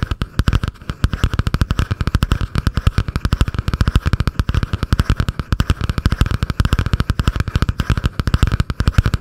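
Long painted nails tap and scratch fast on a butterfly-print spiral notebook with a cardboard cover, held above the microphone. The result is a rapid, unbroken stream of short, dull, bass-heavy thumps with almost no ring, over a faint midrange scratch.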